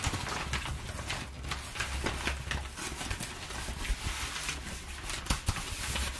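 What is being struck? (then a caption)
Crumpled kraft packing paper. A large, thin, loosely crinkled sheet of crumpled brown kraft packing paper lies on a wooden table while two hands with long painted nails press and rub it flat with palms and fingertips. It makes a continuous bright crinkling and rustling with scattered sharper crackles, over a low steady hum.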